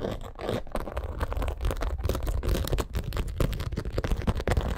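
Long acrylic nails scratch quickly and repeatedly across a black crocodile-embossed leather purse. The result is a dense, continuous run of dry, rasping scrapes with a heavy low rumble and little bright edge.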